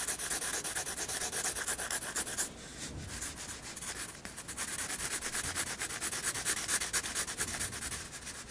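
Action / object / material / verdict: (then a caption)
scrape / graphite pencil on paper sketchbook page / paper / none. A 7B graphite pencil, held at a low angle, shades across a white paper sketchbook page with one hand resting on it. The sound is a continuous bright, hissy rubbing and scratching with rapid, uneven strokes, dipping quieter for a couple of seconds in the middle before picking back up.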